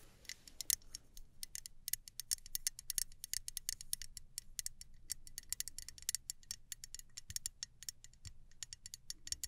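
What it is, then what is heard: Aluminum travel spray bottle. Long nails tap rhythmically on the metal body of a small gold aluminum travel spray bottle. The result is a quick, steady run of dry, bright clicks with almost no ring, set over a faint low background hum.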